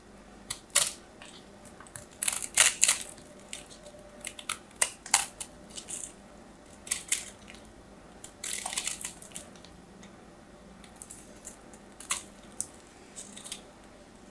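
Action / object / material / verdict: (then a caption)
scrape / bar of soap cut with a metal knife / soap / none. A metal craft knife cuts into a solid white soap bar, chunks breaking off. A series of sharp, bright crisp snaps and crackles rings out, with brief gritty scraping bursts between them, all very short and high-pitched with almost no low end.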